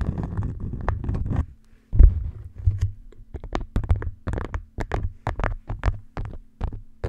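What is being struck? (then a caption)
Beeswax-coated cotton food wrap. An orange beeswax-coated cotton food wrap lies draped flat over the top of a microphone while long nails scratch and tap its waxed fabric surface. A muffled, bassy scratching rustle runs for over a second, then after a brief pause comes a quick run of soft, thumping taps and scrapes, all heavy in low rumble with almost no treble.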